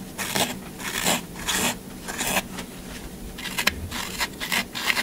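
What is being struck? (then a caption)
Block of floral foam. A solid green floral foam half block, held in the hand, is scratched and gouged along its side with a pointed tool. The sound comes as a series of irregular crumbly, rasping scrapes, each a bright, noisy burst with little low end. The scrapes stop dead with no ring.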